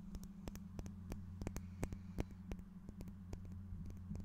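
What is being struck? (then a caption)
Small faceted glass piece. A small, clear, solid-looking faceted glass piece is held near the microphone and tapped with fingernails and fingertips, giving about twenty short, bright clicks at an uneven pace. Each click dies away almost instantly, over a steady low hum that fills the background.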